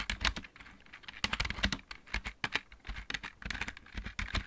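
Both hands type on a full-size backlit plastic mechanical keyboard with fingertips and nails. The result is a quick, uneven run of sharp, bright clicks over soft low thumps, each tap dying away almost instantly.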